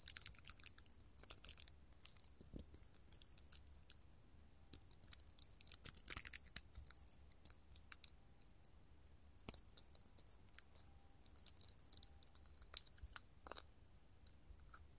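A small, hollow, empty clear hobnail-textured glass candle holder held in the palm is tapped and scratched with long gold metal filigree finger-jewelry claws, which also jingle. Quiet, bright glassy clinks and scratchy ticks overlap a thin, steady high ringing tone, with a brief lull near the middle before the tapping resumes.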